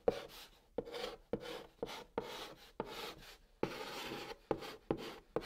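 A white chalk stick held in the fingertips writes Korean letters on the top of a large, flat, hollow brown cardboard box. Ten strokes each begin with a sharp tap that has a hollow knock around 470 Hz, then trail into a dry, gritty scratching with a bright hiss. The result is a quiet, rhythmic sequence of scraping chalk marks separated by short pauses.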